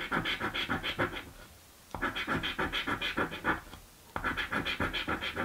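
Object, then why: Cardboard scratch-off lottery ticket scraped with a coin. A coin is rubbed rapidly back and forth across a thin, flat, blue cardboard scratch-off lottery ticket, a birthday scratchie. It makes a dry, bright rasping in three bursts of quick strokes, with brief quiet pauses between them.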